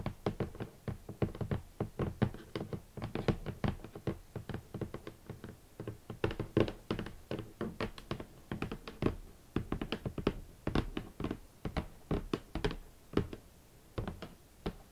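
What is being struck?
Closed cardboard shoe box.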